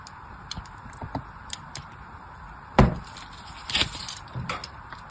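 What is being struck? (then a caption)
Bar of soap scored with a craft blade. A craft blade scores a crosshatch grid into the surface of a solid, plain pink soap bar held in the hand. Soft, dry scratching ticks are punctuated by a sharper, crisp scrape near the middle and a few rougher scraping strokes after it, each fading quickly over a quiet background.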